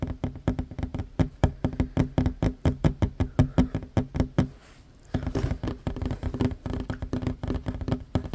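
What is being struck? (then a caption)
Wooden tabletop. Hands with short fingernails tap quickly on a flat, solid wooden tabletop, making a steady stream of short, dull, low knocks with almost no ring. The tapping stops briefly after about four and a half seconds, then resumes at the same fast pace until the end.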